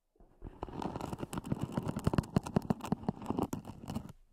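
Long nails tap and scratch the lid of a small, hollow, black zippered EVA hard-shell earphone case, recorded close-up. A rapid, uneven string of soft, hollow taps sits over a continuous dry scratching, with a low, muffled body around 176 Hz and very little brightness.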